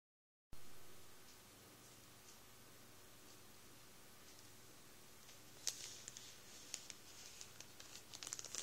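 A full Warburtons plastic bag of 12 sliced white bread rolls lies on a towel while fingertips press and rub it. After about five seconds of quiet low hum, the plastic crinkles in sharp, bright, scattered crackles that cluster more densely toward the end.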